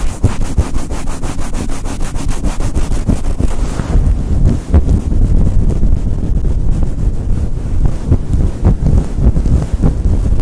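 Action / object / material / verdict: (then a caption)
scrape / synthetic fur microphone windscreen / synthetic fur / none. Fingers with long light-blue nails rapidly rub and scratch a synthetic faux fur microphone windscreen, producing a loud, muffled low rumble. Quick, evenly spaced scratching strokes fill the first few seconds, then give way to denser, irregular rubbing that continues steadily to the end.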